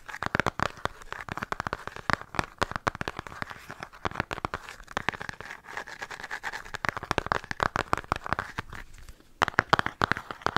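A flat, rectangular, hollow cardboard-covered eyeshadow palette, held upright, is tapped and scratched rapidly with long painted nails. The result is a dense stream of sharp, dry clicks and scratchy crackles with a hollow mid-pitched tone around 1.4 kHz, broken by a brief pause near the end before a final burst of taps.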